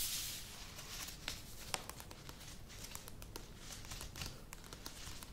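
Long nails tap the sides of a medium plastic yogurt tub with a lid standing on a table, making quick, light, clicky taps. The taps have bright, crisp tops, die away almost instantly, and sit over a faint rustling hiss, with a short bright burst of noise at the start.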